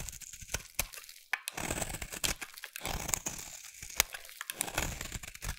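A solid dark brown bar of soap, held in the hand, is shaved with a utility knife blade. The result is a dense run of dry, crinkly scraping and crunching with sharp, bright cracks scattered throughout. It is mostly high in tone with little low end.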